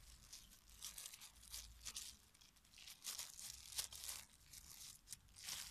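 A thin, clear polyethylene disposable glove, soft and hollow, is empty at first and then pulled onto a hand while fingertips with red-painted nails pull, stretch and crinkle the film. The result is quiet, bright, airy crinkling and tearing-like rustles in uneven bursts with almost no low end.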